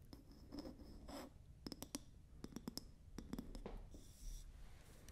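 Long nails and fingertips tap and scratch the round wooden lid of a medium glass candle jar held close to the mic. Quick, dry clicks cluster in bursts between soft scratching strokes and a faint, bright hiss, with almost no ring after each tap.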